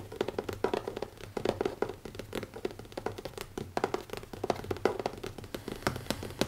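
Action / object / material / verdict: tap / leather-covered notebook / leather / none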